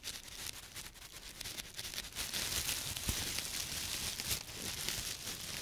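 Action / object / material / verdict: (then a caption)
scrape / thin plastic produce bag / plastic / none. A thin, clear, empty plastic produce bag is spread out between gloved fingertips, stretched and rubbed, then bunched up and crinkled in the hands. The result is a steady, bright, hissy crinkling and crackling that grows louder and denser partway through, with a few sharper crackles standing out.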